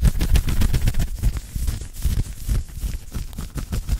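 Fingertips and nails scratch aggressively at an open-weave knitted cotton polo shirt worn on the chest and side, close to the microphone. The result is a fast, irregular run of rough, low, rumbling scrapes with short, dry strokes and little ring.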